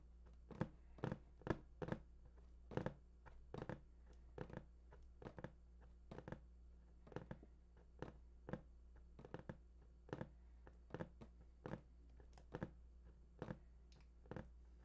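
Fingertips tap and rub the lower front face of a large, hollow, printed cardboard PS4 console box. About three dozen short, dry, irregular taps with quick decay sound over a steady low hum.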